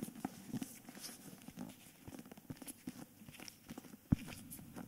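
Fingertips and nails tap and scratch the front cover of a solid, cream dust-jacketed hardcover book held in both hands. Soft, dull, low taps mix with faint papery scratching, and one sharper, louder tap stands out near the end. The sounds are short and dry, with almost no ring.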